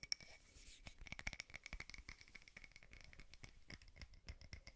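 Fingernails rapidly tap and scratch a small frosted glass votive holder with a wax candle inside. The result is a dense run of quick, dry clicks and scrapes with a bright glassy tick and almost no ring after each hit.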